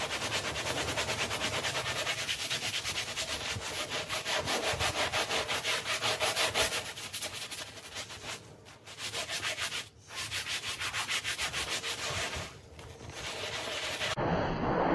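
A light-blue handheld bristle brush scrubs a small, foamy, wet, patterned woven textile rug. The scrubbing is a steady, bright, rhythmic rasp, roughly three strokes per second, with a few brief pauses before a muffled shift at the very end.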